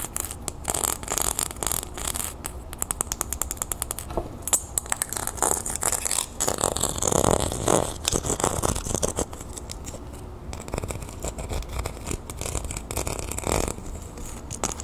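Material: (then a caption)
Copper. Long painted nails scratch a small, round, copper-toned metal disc earring with a scale texture and an ear hook, held in the palm. The result is a dense run of fast, crisp scratching and clicking with bright high edges over a low rustle, easing slightly in the later part.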